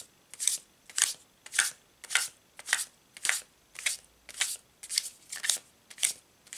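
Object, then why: Laminated paper tarot card deck. A full deck of laminated paper Thoth tarot cards is held in both hands and overhand-shuffled, with the fingertips moving small packets that slide and slap against the rest of the deck. Each pass makes a short, bright, papery swish-and-slap burst with almost no low end. The bursts repeat at a steady rhythm of roughly two per second throughout the clip.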